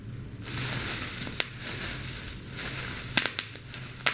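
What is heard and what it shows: A fist squeezes bunched clear plastic bubble wrap while fingers pop the bubbles, giving a steady, bright crinkling rustle. Seven sharp, quick pops break through it, one early and the rest clustered near the end.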